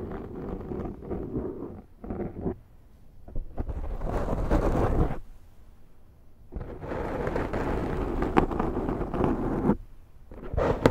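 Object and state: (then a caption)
Scratched foam microphone windscreen. Long nails scratch the top and side of a large round black foam windscreen on a Zoom microphone. Bursts of deep, rumbling, thunder-like friction noise come in uneven stretches separated by short quiet gaps, with the loudest, brightest passages in the middle and later part of the clip.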